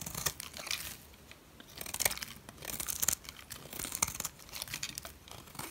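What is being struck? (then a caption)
Soap bar scraped by a metal blade. A metal blade shaves curls off the face of a solid white dry soap bar. The result is a series of dry, crisp scraping and crumbly tearing strokes, bright and hissy with almost no low end, separated by short quiet pauses.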